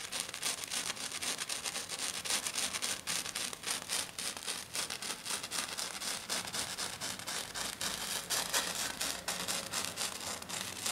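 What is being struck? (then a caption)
Glitter-coated sheet. One hand with long black nails scratches fast across a flat silver glitter-coated sheet. The result is a continuous, bright, gritty rasping made of rapid strokes at roughly four per second, loosely rhythmic and almost entirely high-pitched with very little low end.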